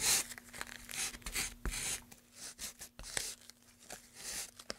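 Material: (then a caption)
Pine wood. A gloved hand rubs sandpaper back and forth inside the carved groove of a long, solid, light-wood pine tray. Each stroke makes a bright, scratchy rasp with crisp ticks, and the strokes rise and fall unevenly over a faint, steady low hum.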